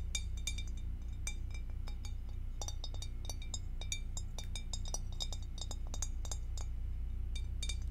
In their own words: Tapping on glass with acrylic nails